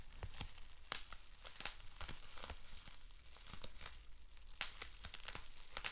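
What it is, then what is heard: Plastic bubble wrap. Fingertips twist, scratch and pop a sheet of clear plastic bubble wrap with small bubbles, rolled and then bundled. Steady crinkling and rustling is punctuated by many sharp, bright pops and snaps that cut off instantly, over a faint low rumble.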